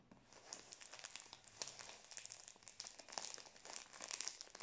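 A full Prince biscuit roll in crinkly plastic film is held in both hands near the face while fingertips and nails squeeze and rub the wrapper as it is turned. The result is quiet, continuous, bright crinkling made of many quick, sharp crackles, with almost no low end.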